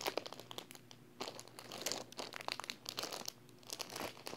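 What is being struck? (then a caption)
Paper wall calendar sealed in thin plastic film. A large flat paper wall calendar sealed in thin clear plastic film is held in one hand while fingertips and long painted nails press and rub the film. The result is soft, dense crinkling with quick, bright crackles and sharp little snaps that rise and fall in bursts, with almost no low end.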